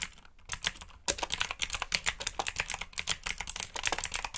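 Fingertips type on a black backlit mechanical keyboard with plastic keycaps, producing a steady run of sharp, bright clicks and clacks with very short decay. After a brief quiet pause near the start, the keystrokes continue in quick, uneven bursts.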